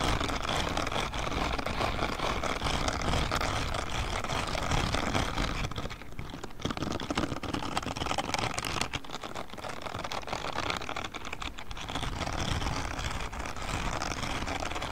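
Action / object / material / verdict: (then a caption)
scrape / silicone spiky scrubbing glove / silicone / none. A grey silicone spiky scrubbing glove is held in both hands close to the microphone while fingertips scratch and rub across its spikes. The result is a dense, steady stream of crackly scratching and rustling over a strong low rumble, with brief dips in loudness around six, nine and eleven seconds.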